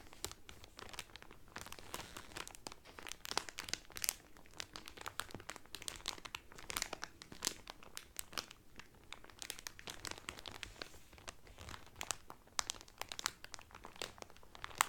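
Fingertips and painted medium-length nails press and crinkle the thin clear cellophane wrapper around a blue Carnival cotton towel, folded flat, soft and solid. Throughout, dense, bright, quiet crackles and crinkles snap in quick succession with no ringing, with occasional sharper pops standing out.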